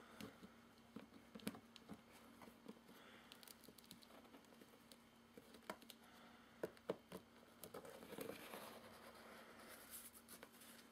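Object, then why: Corrugated cardboard box. Fingertips tap and scratch the top of a medium, closed, hollow corrugated cardboard shipping box resting on carpet, working near the tape seam and the edge. Soft, irregular dry taps and papery scratches sound at a quiet level with no ring. A faint steady low hum runs underneath.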